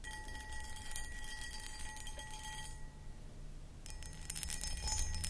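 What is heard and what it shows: Long acrylic nails scratch and tap across a medium-sized, empty, hollow clear cut glass pedestal (footed) bowl held from behind. Dense, bright, crackly scratching rides over steady ringing glass tones near 850 Hz and 1.9 kHz, with a low rumble underneath. The scratching pauses briefly in the middle, leaving a quieter stretch, then returns more loudly with light taps before the end.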